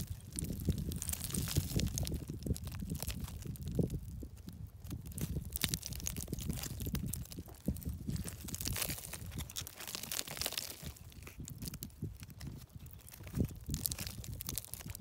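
Fingertips and a thumb pick at, scratch and break off small, thin, brittle grey and tan flakes from a solid, layered shale cliff face. The result is a steady run of dry crunching and crinkling crackles, mostly low and thuddy with bright, sharp flicks on top. Each crunch stops almost instantly, with no ring.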